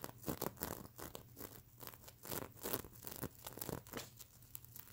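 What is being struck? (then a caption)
Plastic sequins on a stuffed pillow. Long nails scratch and rub across the plastic flip sequins of a stuffed plush mermaid unicorn pillow, flipping them back and forth. The result is a quiet, steady stream of dry crinkling and tearing-like rustles, punctuated by bright clicking flicks as the sequins turn over.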